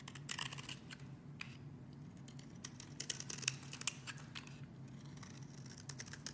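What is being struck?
Bar of soap shaved with a metal blade.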